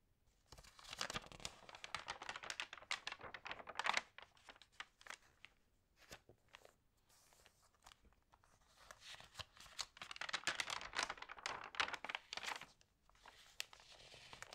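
Long nails and fingertips rub, crinkle and turn the thin pages of an open paper magazine lying flat on a table at its TV-guide pages. Dense, bright, crisp crackling comes in two busy bursts, with sparser soft ticks and rustles between them and very little low end.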